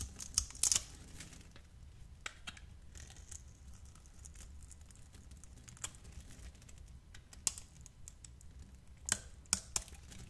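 A metal utility blade scrapes tiny cubes off a hand-sized solid bar of yellow translucent glycerin soap, scored in a grid and held in the hand. Quiet, bright, crisp crackles and sharp clicks come in scattered bursts, with a few louder snaps standing out over a soft low background.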